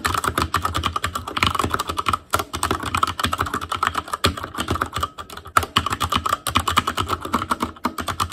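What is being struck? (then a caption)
Plastic mechanical keyboard keycaps. Fingertips type rapidly on the plastic keycaps of a black Asus Claymore Core plastic mechanical keyboard. A dense, steady stream of short, sharp clacks with a bright midrange click tone decays almost instantly, broken by brief pauses near 2.3 and 5.2 seconds.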